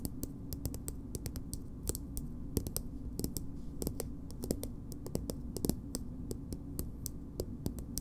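Long nails tap and scratch a small, soft plastic BB cream tube held upright, making a steady run of short, dry clicks with bright ticks. The clicks die away almost at once over a constant low hum and light scratching between them.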